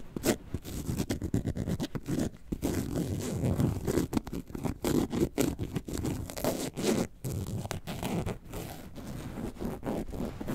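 Long acrylic nails scratch the front panel of a hollow, box-shaped yellow and white faux leather handbag shaped like a lemonade carton, about 20 cm, standing upright. Quick raspy strokes follow one another almost continuously, with a zipper-like scraping texture weighted toward low and mid tones. Each stroke stops dead with very little ring.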